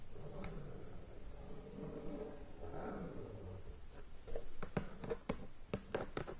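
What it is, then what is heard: Shrink-wrapped cardboard game box. Long nails scratch and tap on the shrink-wrapped lid of a large, hollow cardboard board game box lying flat on a bed. The first few seconds are a soft, low scratching and crinkling rustle, followed by a run of short, dull, hollow taps that stop quickly.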